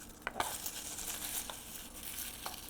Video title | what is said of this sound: Brussels sprouts SECRET CRISPY recipe | listen to how crispy and just delicious that sounds